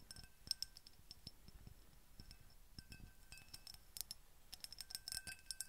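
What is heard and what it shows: Long painted fingernails tap and scratch a small brown-tinted glass perfume bottle with an embossed pattern and a silver cap, held up in both hands. Quiet, sharp clicks and bright glassy tinks come in quick irregular bursts, each with a faint high ring that dies away almost at once. Soft scratching ticks fill the gaps between them.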